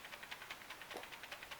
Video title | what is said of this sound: SBEGO : Magic Cube Game (unboxing & review) | you hear a little bit, but not nearly as bad as it could be